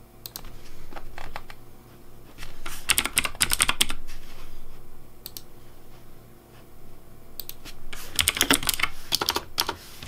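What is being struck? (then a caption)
Plastic mechanical keyboard. Fingertips type at a sparse, uneven pace on a pink plastic Razer Deathadder V3 Pink mechanical keyboard. Sharp, bright key clacks come in two busier flurries, near the start and near the end, with a quieter stretch of scattered taps between. A steady low hum sits underneath.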